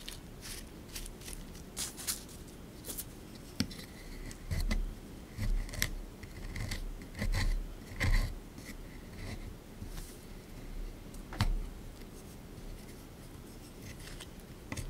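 A small flat scraper tool scrapes across the top of a rectangular solid plaster block from a dinosaur excavation dig kit, its surface dusty and crumbly, while the other hand steadies the tray it sits in; a brush lies unused to the side. The clip is made of irregular, gritty scraping strokes that swell and fade, each with a low rumbling body, a bright crackle and occasional sharp ticks.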